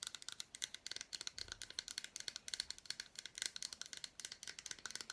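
Long black nails scratch and tap the back and front of an unwrapped solid milk chocolate bar with fruit pieces. A quick, steady run of tiny, dry clicks and scrapes follows, each dying away almost instantly. The sound is bright and thin, with almost no low end.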